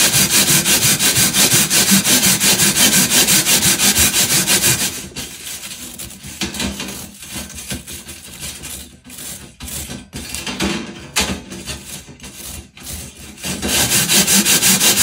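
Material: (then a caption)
Metal. A hand-held purple plastic bristle brush scrubs back and forth across a large, flat perforated metal panel with round holes and a darker mesh patch behind it. Fast, steady, bright, hissy strokes fill the first five seconds, then turn softer and more uneven before returning to full strength near the end.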